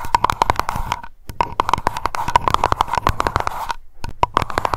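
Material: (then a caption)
Glass. Long acrylic nails tap rapidly on the bottom and sides of a small wax-filled glass aroma candle jar labeled Lavender, which rests on the mic. The result is a fast stream of sharp, dry clicks with a short glassy ring near 950 Hz and a soft low thump beneath. Two brief pauses break the tapping.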